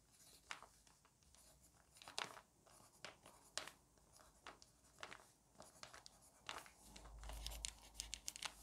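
A wooden pencil is drawn across a thick lined paper notebook with slightly crinkled pages, writing short numbers and letters. Quiet, bright, dry scratching strokes come in short bursts separated by near-silence, with a faint low rumble toward the end.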